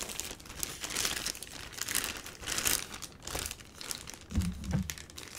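A box wrapped in a black plastic bag is held and turned in the hands while fingers squeeze and rub the crinkly plastic wrap. It makes a steady stream of bright, rustling crinkles that swell and fade in waves. Near the end come a couple of duller, low thumps as the parcel is handled.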